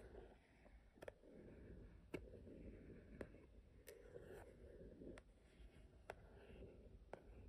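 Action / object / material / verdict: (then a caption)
tap / cardboard box lid tapped with fingernails / cardboard / none. Fingertips and long nails tap and scratch the lid of a small white and gold marble-print cardboard keepsake box resting on a wooden table. Soft, continuous scratching is broken by a series of sharp, brief taps with a bright click and almost no ring. The whole clip stays quiet and close, with a low rumble underneath.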